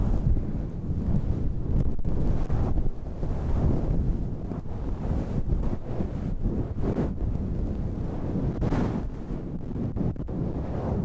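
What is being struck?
Synthetic fur microphone windscreen.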